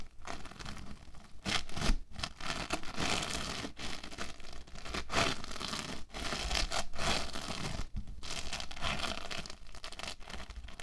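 An orange foam bead clay log is rolled and pressed under flat hands and fingertips on a table. It makes a dense, crackling, scratchy crunch with a low rumble underneath. The crunching runs in bursts broken by brief quiet gaps.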